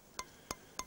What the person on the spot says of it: that's a spring Stone it's a hard Stone